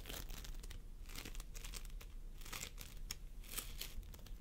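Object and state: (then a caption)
Floam sculpting foam. Fingertips of both hands squeeze, press and pull a pastel mound of floam sculpting foam, polystyrene microbeads in a sticky binder, resting on a wooden table. The result is a quiet, continuous run of bright crinkling, crunching and sticky tearing bursts over a steady low background rumble.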